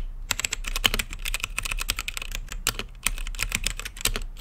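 Fingertips type rapidly on a blue-lit mechanical keyboard with plastic keycaps set in a clear acrylic case. The result is a fast, steady stream of short, sharp, bright clicks over a soft low thud, each keystroke dying away almost instantly.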